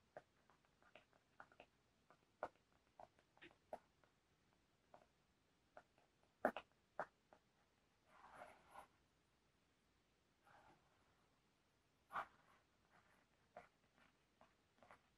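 A flat, rectangular, black textured cardboard makeup palette case, thin and hollow, is held in one hand while the thumb and fingernails tap and scratch its surface. Quiet, dry, irregular taps with almost no ring are broken by brief scratchy rubbing bursts around the middle of the clip.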